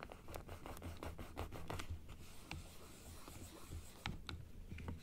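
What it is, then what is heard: Plastic dental model scratched with nails. Long nails scratch the inside surface and the teeth of a large plastic dental teeth model held open, producing quick, dry scratching strokes with bright clicks. A steady low hum sits underneath, and the strokes cluster in the first two seconds and again near the end.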